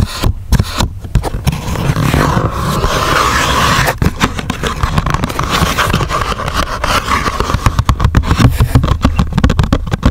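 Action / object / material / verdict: scrape / coated paperboard box / paperboard / none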